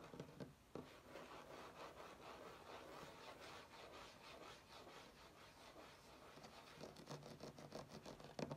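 Both hands rapidly tap and scratch a flat, solid wood-grain tabletop with short fingernails. A steady, dry rasping scratch fills the middle, and quick, bright taps stand out at the start and grow denser toward the end, each dying away almost at once.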